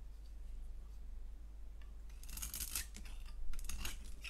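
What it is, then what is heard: Soap bar scraped with a blade. A box-cutter blade scrapes a solid, translucent orange-striped DURU soap bar held in the hand. After a quiet stretch with a steady low hum, bright, crisp scraping strokes begin around the two-second mark and repeat in short rasping bursts until the end.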